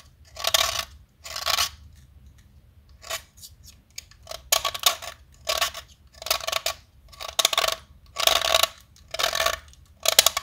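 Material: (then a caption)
Chalk. A metal blade shaves a small, solid white blackboard chalk stick held upright over a container, and white powder falls as it carves. Short, bright, gritty scraping strokes repeat with brief quiet gaps between them, with almost no low end.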